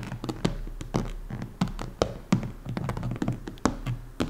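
Long painted nails tap and lightly scratch the top of a large, round, orange, hollow plastic lid, likely from a Tupperware-style container, lying flat on a table. Irregular, quick taps make soft, hollow, low thunks that die away almost instantly, with faint scratching between them.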